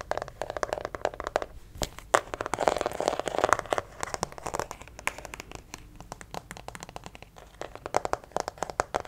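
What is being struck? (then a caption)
Plastic acupuncture figure. A white plastic acupuncture model doll is turned in the hands while fingertips tap and nails scratch its back and legs. The result is a dense run of quick, dry clicks and crisp scratches, with bursts of crinkly, hollow plastic rubbing, mostly in the mids with little low end.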